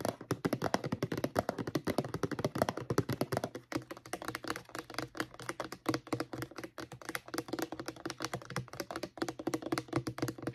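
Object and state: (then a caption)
Plastic mouthwash bottle. Long painted nails tap and scratch the sides of a medium-size, hollow white plastic Crest mouthwash bottle, contents not visible. Rapid, dense clicks and hollow taps run continuously with very short decay, interleaved with light scratching. The tone is dull and mid-range, centered around 640 Hz with little high brightness.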